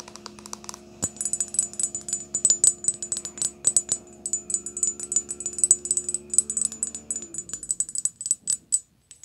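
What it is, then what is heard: Glass perfume bottle. A small, tall rectangular glass perfume bottle, partly full of pink glittery liquid, is tapped rapidly with long polished nails. The taps make bright, sharp, high-pitched glassy clicks with almost no ring, in quick irregular bursts. A faint low steady hum sits underneath and fades out shortly before the last few taps.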